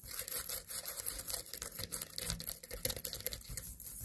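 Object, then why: Small pumpkin. Long nails scratch and tap the stem and body of a small white pumpkin standing on a table. The result is a quiet, dense patter of short, dry clicks and bright, rasping scratches with almost no ring after each touch.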